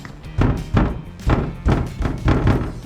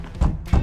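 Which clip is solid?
The second.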